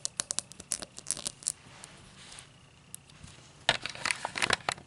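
Long black nails tap and scratch the cut base of an empty, tall cut-crystal highball glass held base-out. Sharp, bright clicks and crinkly scraping come in quick bursts, easing into a quieter stretch in the middle. A dense flurry of gritty scratches and taps follows near the end.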